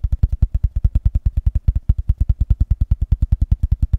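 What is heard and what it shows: A box is tapped fast and aggressively, producing a rapid, steady stream of short, dull, low-pitched knocks with almost no ring. About 38 distinct taps can be heard over four seconds.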